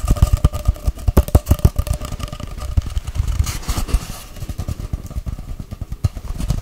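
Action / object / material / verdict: tap / cardboard tube / cardboard / none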